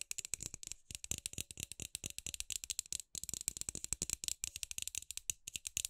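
Long acrylic nails tap quickly on a palm-sized, hollow, milky white frosted plastic LED light bulb held in the hand. The result is a rapid run of dry, bright clicks with no ring, broken by a few brief pauses.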